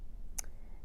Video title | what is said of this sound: Acrylic Overlays Application #fyp #fypviral #explore #acrylicnails #acrylicoverlays | what you're listening for when you tap that nail is a crisp clicking sound and that's how you know your nail is dry